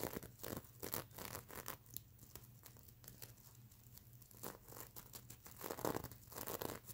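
Long nails scratch across the plastic sequins covering a stuffed unicorn pillow, making quiet, bright, crinkly scratching and clicking bursts. The scratching thins to a soft rustle in the middle, then picks up again with stronger strokes near the end over a faint low hum.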